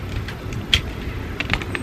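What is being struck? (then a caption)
Wooden stick. A stick is tapped several times, giving short, light clicks with a bright tone near 3.3 kHz over a steady low background rumble. The taps sound smoother than tapped plates, showing how sounds can vary.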